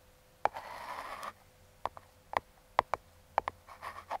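Metal claw fingertip picks tap and scratch the top of a small, closed, brown kraft cardboard box held in hand, working around the logo. About nine dry, sharp, hollow taps ring briefly near 1 kHz, mixed with soft, papery scratching strokes early on and again at the end.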